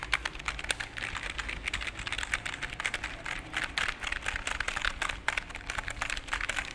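A full-size black plastic computer keyboard with a cable is held up in front of the microphone with both hands while fingertips press and tap the keys in quick, typing-like runs. The result is a dense stream of short, bright plastic clicks with almost no ring, over a faint, steady low hum.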